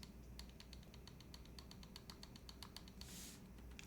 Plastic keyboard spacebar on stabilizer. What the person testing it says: it's only when you lightly tap it ... it almost sounds like rattle right